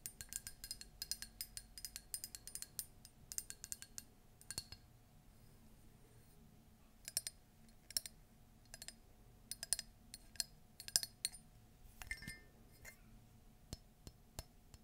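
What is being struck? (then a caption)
Ceramic mug. Long nails tap and scratch a hollow, empty, cream embossed Disney ceramic mug with small feet and a shaped handle, including its base. Quick, bright clicks and clinks die away almost instantly, with dense flurries in the first four seconds. Sparser taps and soft scratching follow over a quiet, low background.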